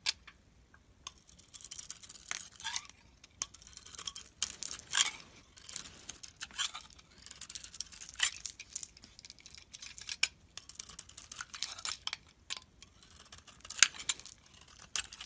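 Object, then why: Bar of soap. A metal utility blade carves and scrapes curled flakes off a solid, hand-sized teal bar of soap with a white interior, held in the hand. It makes quiet, crisp, bright scraping and shaving strokes in irregular bursts, almost no low end and very short, dry decays.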